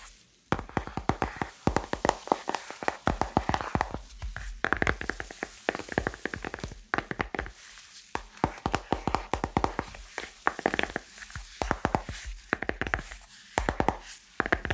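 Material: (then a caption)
Plastic. Long nails tap and scratch the back of a handheld smartphone in a solid, glossy pink plastic case. Rapid clicky taps come in dense bursts separated by brief pauses. Each tap is short and dry, with a hard plastic tick centered in the mids.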